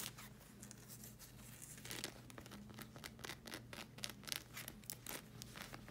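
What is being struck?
Rubber slide sandal sole.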